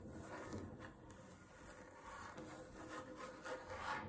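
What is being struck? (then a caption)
Wooden tabletop. Long fingernails scratch across a solid wooden tabletop, giving a steady, soft, rasping scrape with gentle swells and brief brighter strokes. At the end the hands lift off the surface.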